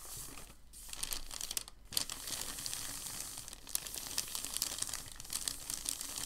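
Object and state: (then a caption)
Crumpled packing paper. Fingers lift and fold a large, thin, white crumpled packing paper sheet, then palms rub it flat on the table. Quiet, continuous bright crinkling and rustling runs throughout, dotted with sharp little crackles and brief pauses between handling moves.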